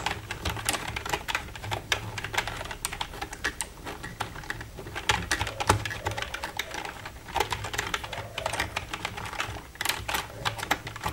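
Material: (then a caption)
Plastic. Long red-painted nails tap and type on the keys of a black plastic computer keyboard. A steady stream of quick, bright plastic clicks and clacks comes in uneven bursts, with each tap dying away almost at once. A faint low hum runs underneath.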